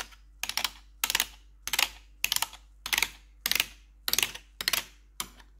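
Long pointed metal nail tips worn over blue gloves tap the keycaps of a black plastic RGB backlit computer keyboard. Nine quick bursts of sharp, bright clicking come at an uneven pace, each a short flurry of taps that dies away almost at once.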